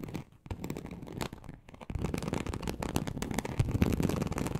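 Very long acrylic nails on both hands scratch across a large, flat, teal snakeskin-embossed leather sheet (likely faux) lying on a surface. The result is a dense, rapid series of soft, dry scratching and crackling strokes, mostly low in tone, that grows busier and louder in the second half.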